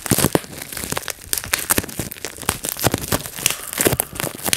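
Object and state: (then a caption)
Plastic bubble wrap being popped. A clear plastic bubble wrap sheet rests on a lap while fingertips squeeze and pop its air bubbles. Sharp, dry pops and crackles come in quick bursts over a soft crinkling of the plastic, each snap dying away almost at once.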